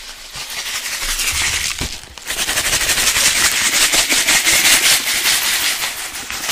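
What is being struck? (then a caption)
Plastic bottle with liquid and sand. A clear plastic drink bottle with a yellow cap, partly filled with blue liquid and sand, is held in one hand and shaken fast. It makes a dense, bright, hissing rattle of rapid pulses that sags briefly partway through, then returns louder and keeps churning to the end.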